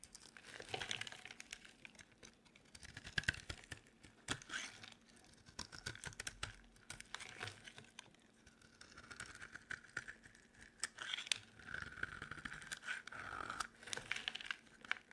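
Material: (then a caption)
Soap. A solid, cream-colored, rounded bar of dry soap, held in a hand with long painted nails, is shaved with a utility knife blade. The sound is a dry, crisp crackling and scraping, made of dense, bright clicks and crunches that come in bursts, with brief quieter pauses between strokes.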